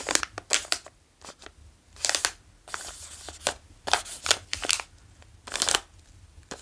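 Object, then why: Plastic bag of gummy candy. A small, full yellow plastic bag of Bilar gummy candy is handled, tapped and traced with the fingertips. Sharp, bright crinkles come in short bursts with quiet pauses between them, and a longer steady rustle runs through the middle.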